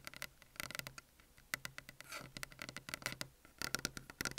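A flat, solid white desk top is tapped with the long natural fingernails and fingertips of both hands, picked up by an Apple earphone mic lying on the desk. About twenty-two crisp, bright clicks come in quick clustered bursts, with a brief soft scratching patter in the middle. Each tap dies away almost instantly.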